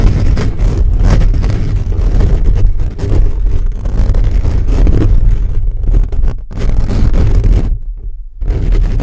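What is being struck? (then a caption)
Metal mesh microphone grille. Fingertips and nails scratch and rub fast across a hollow black metal mesh microphone grille. The result is a loud, continuous, boomy rumble of scraping, with nearly all its energy deep in the low end around 100 Hz. It dips briefly a few times, most clearly near the end, before surging back.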